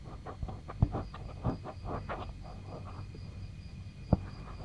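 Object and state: Fingers scratching a silicone microphone ear.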